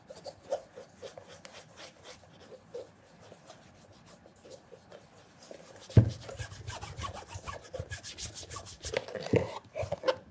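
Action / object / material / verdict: scrape / leather loafer / leather / none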